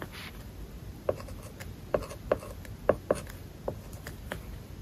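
A plastic stylus held in the fingers writes kanji on an iPad screen covered with a matte plastic paper-like film, making short scratchy strokes. Quiet rubbing is punctuated by brief, dry ticks with a midrange tone around 590 Hz and almost no ring.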